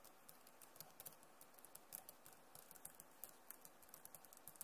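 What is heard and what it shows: Both hands type on a backlit Acer laptop keyboard with plastic keys, using fingertips and nails. About 25 quick, light taps and clicks come through, each with a bright, sharp tick and almost no ring. The taps sit over a quiet, steady low background.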